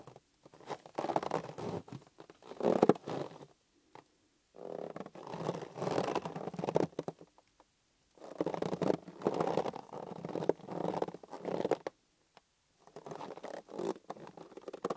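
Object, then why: Inflated latex balloon. A green inflated latex balloon, hollow and held in both hands, is rubbed and squeezed by fingers. The result is bursts of squeaky, rubbery scraping and creaking in the midrange, separated by short silences.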